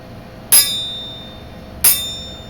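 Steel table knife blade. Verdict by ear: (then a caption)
Good steel. An antique silver-plated steel table knife blade is struck twice, each strike giving a bright, high-pitched metallic ring like a bell that decays slowly. The clear ring shows the knife is made of good steel.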